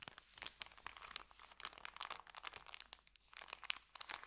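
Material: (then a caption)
Paper. Hands press, squeeze and crinkle a small folded packet of white paper sandwich bag with green print. The result is a quiet, continuous run of crisp, bright crackles and sharp little snaps with almost no low end.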